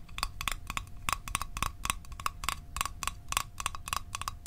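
A small hollow metal Altoids mint tin is tapped with the fingertips and nails at a steady pace, giving about 20 quick, bright metallic clicks. Each tap has a short ring centered near 1.1 kHz that dies away almost at once, over a low background rumble and a faint steady tone.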